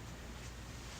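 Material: Nothing is struck.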